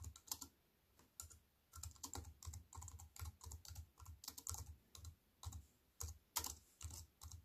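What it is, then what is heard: Compact keyboard with plastic keys. A slim, compact wireless keyboard with black plastic keys in a grey metal-look frame, lying on a wooden table, is typed on with fingertips that have white-painted nails. Quick runs of short taps come in bursts separated by brief pauses, each pairing a low, soft thud with a bright plastic click that dies away almost at once.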